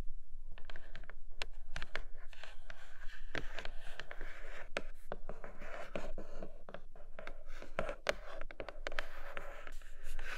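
Long acrylic nails tap fast on a flat grey cardboard Nomad box with a clear plastic window, making a rapid stream of sharp, dry clicks. Brief bright scratchy strokes mix in over a quiet low rumble, and the level stays fairly steady throughout.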